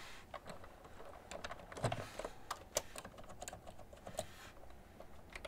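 Slow typing on a cream plastic ergonomic computer keyboard with hollow keys, pressed with fingertips and long nails. The irregular keystrokes are short, clicky taps with a hollow plastic tone, quiet overall with a few louder clacks.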